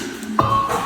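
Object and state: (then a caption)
Intact ceramic jar, clear ring. A single tap on a ceramic moon jar, tapped to check whether the piece is damaged, gives a clear ring at about 1.2 kHz that sustains for a fraction of a second. The clear tone indicates the jar is intact, since a dull sound would mean it is broken somewhere.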